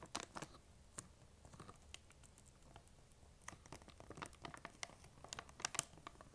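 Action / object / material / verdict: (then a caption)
tap / plastic candy bag / plastic / none. Long nails tap and scratch across the top of a large, printed plastic M&M's candy bag that appears full. Quiet, sharp, bright clicks and crinkly scratches come in uneven bursts, with a softer stretch in the middle before the tapping picks up again.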